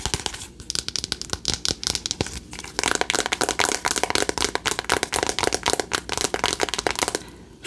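Long acrylic nails tap fast on the front cover of a flat, rectangular cardboard eyeshadow palette labeled "Remember Me," which is hollow with pans inside. The result is a rapid, steady run of crisp, dry, papery clicks with a bright high end and almost no ring after each tap.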